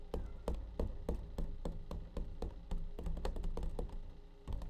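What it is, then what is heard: Plastic glove container. Fingertips and nails tap the side and lid of a clear, hard plastic tub of blue nitrile gloves, which is hollow and partly full. The taps come in a quick, uneven run of dull, hollow knocks, with a low thud under each one and very little ring after.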